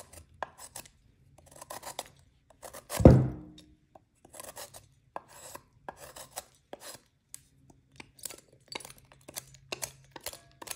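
A metal knife scrapes and cuts pieces off a solid white, partly shaved magnesium carbonate gym chalk block held over a glass bowl. Short, dry rasping scrapes come in scattered bursts, with one louder crunching hit near the start that trails off in a brief low ring.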